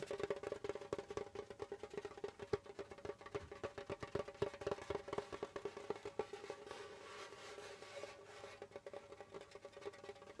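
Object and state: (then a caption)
Djembe hand drum. Fingertips of both hands tap rapidly on the pale skin head of a djembe, a hollow hand drum with a wooden shell. The result is a fast, continuous patter of light, dry taps, each decaying almost at once, with a hollow resonant tone around 410 Hz that stays steady for the whole clip.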